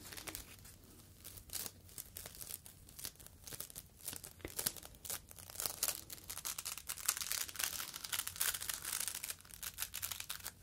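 A yellow foam fruit protective net, a mesh sleeve, is folded and squeezed with fingertips. It makes dense, bright crinkling and crackling with many quick, sharp snaps that swell and fade in irregular bursts. There is almost no low end, and each crackle dies away almost instantly.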